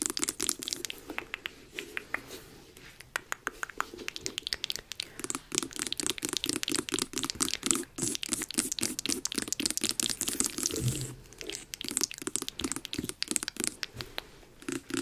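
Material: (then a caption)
Pumpkin rind. Long acrylic nails tap and scratch the top of the orange rind of a medium, hollow, carved jack-o'-lantern pumpkin held in front of the mic. It makes a rapid, uneven stream of bright, crisp clicks and dry scratching with a faint hollow low-mid body. Each tap stops almost instantly with no ring.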